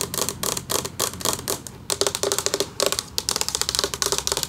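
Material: Metal.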